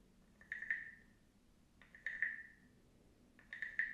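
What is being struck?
Carved wooden frog guiro.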